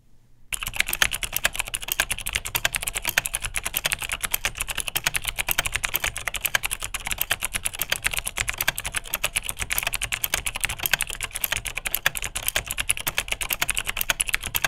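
Both hands type rapidly with the fingertips on a beige vintage full-size plastic mechanical keyboard, a Unitek K-158 with Cherry MX Dark Blue click switches and solid keycaps. The dense, steady stream of sharp, bright clicks begins after a brief silence and continues throughout, with a faint low hum underneath.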